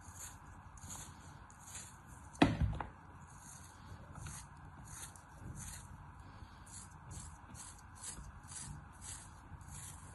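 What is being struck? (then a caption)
Molded kinetic sand block. A palm-sized, solid, star-shaped block of molded kinetic sand is held in the palm and sliced repeatedly with a thin black cutting tool, and the slices drop into a plastic tray of sand below. One heavier, low thud lands early on, followed by a steady rhythm of soft, gritty cuts with a faint bright hiss.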